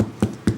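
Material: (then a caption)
Pumpkin flesh. Two hollow, drum-like thumps from tapping on a ripe pumpkin, each a short low knock with a quick decay. The deep drum-like sound indicates the pumpkin is ripe.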